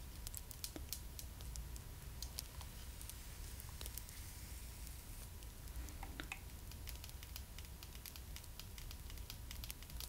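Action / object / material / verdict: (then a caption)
tap / hard plastic doll head / plastic / none. Long matte black stiletto nails tap and scratch the small, hollow, hard plastic (vinyl) head and face of a Pullip doll. Quick, sharp clicks and light scratches scatter across the clip. They sit over a quiet, steady low background hum.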